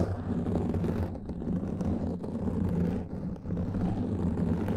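Fingertips and nails of both hands scratch a black foam microphone windscreen. The result is a continuous, muffled rumbling scrape concentrated in the low end around 100 Hz, with little bright content. It holds fairly steady, with brief softer dips near 1.2 and 3.3 seconds.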